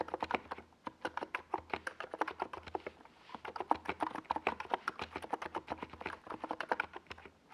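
Fingertips of both hands type fast on a compact 68-key NiZ Plum Atom 68 plastic mechanical keyboard with a white plastic case and purple and yellow Domikey Gas Attack SA plastic keycaps, resting on a desk pad. About 47 short, dry, clacky keystrokes centered in the midrange come in quick bursts, with a brief pause around the three-second mark. Each tap dies away almost instantly.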